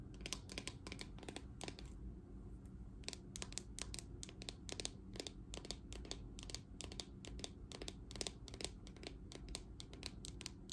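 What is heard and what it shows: Long dark nails tap and scratch the dense bristles and hollow plastic back of a green patterned plastic paddle hairbrush held in hand. A quiet stream of quick, bright clicks and crisp scratches runs throughout, with a brief lull near the start, over a steady low hum.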